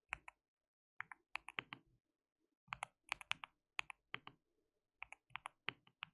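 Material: Plastic.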